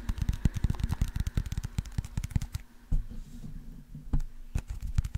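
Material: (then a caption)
Plastic. Fingernails tap and scratch a small white plastic eye drop bottle with a label and liquid inside. A rapid run of dull, clicky taps fills the first half, then a quieter stretch of soft scratching follows, broken by a few sharper taps near the end.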